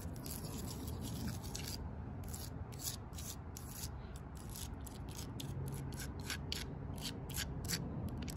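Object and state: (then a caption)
Tree bark scratched and tapped with fingernails. Long purple nails scratch and tap along the coarse bark and crack of a thick, solid tree trunk. The result is a quick, uneven run of dry, scratchy bursts with bright hiss, over a steady low rumble.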